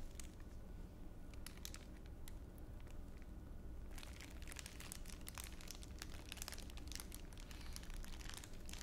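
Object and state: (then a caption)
Clear plastic wrapper. A thin clear plastic wrapper is crumpled by fingertips while held in a palm. Sparse, bright crinkles and crackles come first, then turn denser and busier about halfway through, over a steady low rumble and a faint hum. The level stays quiet throughout.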